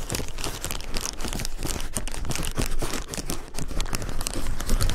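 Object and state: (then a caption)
Plastic bubble wrap. Fingertips press, pinch and crinkle the hollow, air-filled bubbles of a large sheet of clear plastic bubble wrap lying on a dark surface. A dense, continuous crinkling is heard, full of small dry crackles and pops over a steady low rustle.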